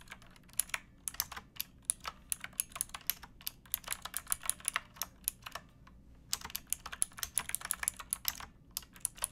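Fingertips with painted nails type on a pink backlit plastic mechanical keyboard with round keycaps and a hollow case, resting on a wooden box. The result is a steady run of crisp, bright, clacky keystrokes that stop almost instantly, with little low end. There is a short pause just before the six-second mark before the typing resumes.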